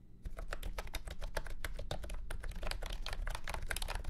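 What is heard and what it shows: A full-size beige and orange plastic retro keyboard with round keycaps and a hollow body sits on a felt mat and is typed on with fingertips. After a brief quiet start, a rapid, steady run of sharp, hollow plastic clacks follows, with short bright key strikes over a constant low hum.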